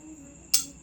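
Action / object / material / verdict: tap / glass drinking glass / glass / none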